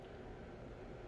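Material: Nothing is struck.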